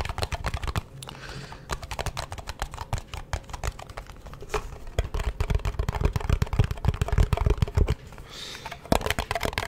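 A small, round, flat blue metal cream tin, hollow and held in both hands in front of a microphone, is tapped and scratched on its lid and rim with fingertips and nails. The result is a rapid, uneven stream of short, dry taps with a dull low thump, very little ring, and occasional faint scratchy rustles between them.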